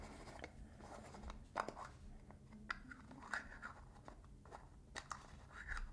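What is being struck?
Small metal tin and lid.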